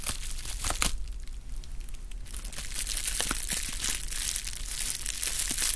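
Rolled clear plastic bubble wrap is squeezed and crushed with fingertips close to the microphone. A steady, bright crinkling runs throughout, punctuated by sharp little pops and crackles, with a quieter stretch in the middle before the crinkling builds again.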